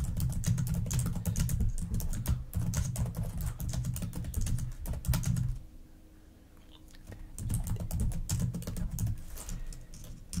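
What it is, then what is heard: Plastic laptop keyboard. Long nails and fingertips type and tap rapidly on the plastic keys of a black laptop keyboard, making dense, uneven clicks with a soft low thump under the bright clatter. The tapping stops for about a second and a half around the middle, leaving near silence, then picks back up at the same quick pace.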